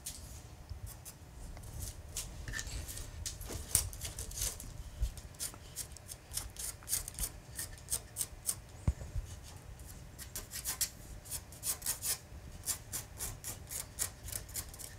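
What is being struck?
Solid carved wooden panel worked with a hand carving tool.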